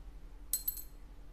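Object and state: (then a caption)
Synthetic bone guitar saddle dropped. A NuBone synthetic bone guitar saddle is dropped to compare it with other saddles. It makes three quick, bright clinks as it bounces, each fading almost at once over a faint steady low hum.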